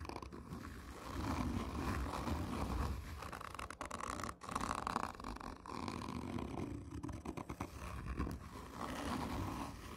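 Long nails on one hand scratch slowly and hard across a hollow, black, textured cardboard whisky tube. The result is a steady, rough scraping with a deep, hollow rumble underneath and a gritty midrange rasp, broken by a few brief pauses between strokes.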